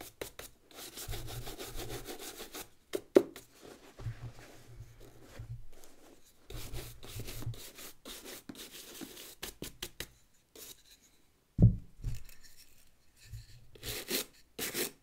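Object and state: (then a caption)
Leather work boot with rubber sole being brushed. A brown leather work boot with a rubber sole is held sideways while a wooden-backed brush scrubs the sole and welt. Bursts of dry, rasping scrubbing strokes come and go with short pauses, weighted toward low tones. A few sharp knocks stand out, notably one near the start and a louder one past the middle.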